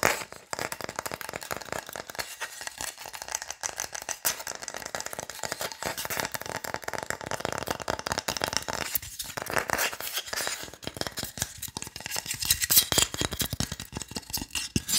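Fingernails rapidly tap and scratch along the surface of a long, flat, solid wooden cooking spatula held in both hands. The result is a fast, dense stream of dry, clicky taps and scratchy rasps, bright and thin with almost no low end, each sound dying away almost at once.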